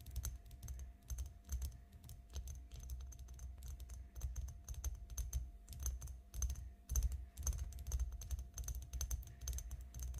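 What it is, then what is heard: Glass perfume bottle tapped with nails. Long nails tap along an elongated glass perfume bottle, partly filled with pink liquid and lying flat on a table. The result is a quick, uneven run of short, bright clicks and taps over a steady low hum, with no ringing after each tap.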